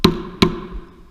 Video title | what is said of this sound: Step 11 Final Assembly | the sound goes from a hollow sound to a much more solid thud so it goes from a hollow to a thud